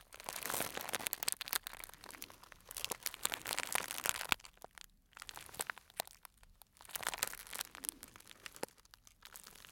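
A small clear cellophane plastic bag, tied at the top and filled with dried fruit or nut pieces, is held in the hands, one wearing a black glove, and squeezed, crinkled and rubbed with the fingers. Dense, bright crinkling and crackling comes in bursts, broken by short quieter pauses around 5 and 6.5 seconds, with almost no low end.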